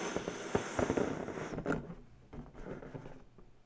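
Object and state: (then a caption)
Inflated latex balloon. Long bare natural nails and fingertips scratch and rub the surface of an inflated purple latex balloon, hollow and air-filled and held in one hand. A bright hissing rasp runs under scattered sharp ticks and squeaky rubs for the first second and a half, then drops away, leaving softer, fading scratches and taps.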